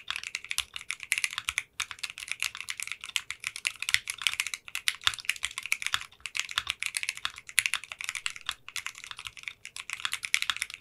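Fingertips with short nails type rapidly on a 60% custom mechanical keyboard with translucent pink polycarbonate keycaps in a clear case. The result is a dense stream of sharp, bright clicks with very short ring, with brief pauses around 1.7, 6 and 9.6 seconds.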